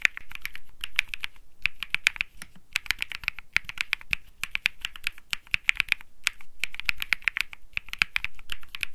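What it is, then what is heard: Mechanical keyboard typing. Fingertips type quickly on a compact 65% Think 6.5 mechanical keyboard with Bsun Lollipop switches, an aluminum case, a PC plate and light plastic keycaps, with its white solid body resting on a felt mat. A rapid, dense stream of short, dry key clacks is heard, bright with a strong tone around 2.5 kHz over a soft low thump, and each press dies away almost instantly. The typing pauses briefly a few times.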